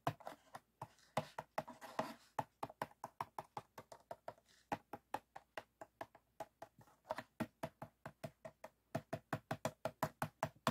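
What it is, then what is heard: Plastic PET water bottle. A clear, empty, hollow ridged PET plastic water bottle stands upright on white foam while fingertips and nails tap and scratch along the ridges on its sides. The sound is a rapid series of short, dry, hollow plastic clicks and taps with little ring, mixed with brief scratchy rubbing.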